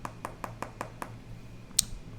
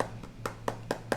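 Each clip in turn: First: Six quick, even fingertip taps on a laminated glass tablet screen, each a crisp high tick; solid, with no hollow ring. Second: Five quick, papery fingertip taps with a mid-pitched knock; the glass of a non-laminated tablet screen sounds hollow.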